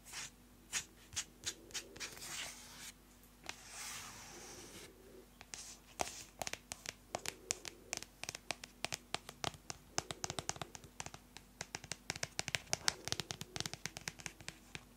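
Long nails tap and scratch the cover of a closed yellow-orange hardcover paper notebook held upright. Soft, bright scratching swishes come first, then a rapid run of sharp, dry clicks with no ring, over a faint steady low hum.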